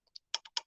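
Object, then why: Metal part of an embroidery machine head. Metal parts of a multi-needle embroidery machine head, the ones the needle does not go into and that need no oil, are tapped in a quick series. Each tap gives a short, dry, bright click that dies away almost at once, with no low end.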